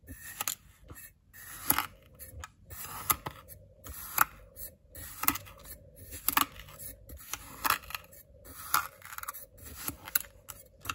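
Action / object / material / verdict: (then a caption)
scrape / kinetic sand in a glass bowl, cut by a ceramic knife / kinetic sand / none. A white ceramic knife cuts and scrapes slices into packed blue kinetic sand in a small clear glass bowl held by fingers. Irregular crisp, crunchy slicing and gritty scraping sounds follow one another with bright edges and no ringing.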